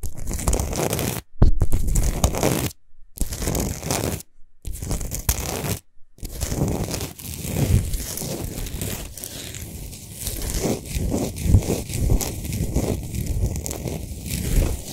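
Long nails on both hands scratch fast across a large, lit, spherical Himalayan rock salt lamp of solid salt. Dense, gritty scraping and crackling dominates, heavy in the low end, with a few brief silent gaps early on.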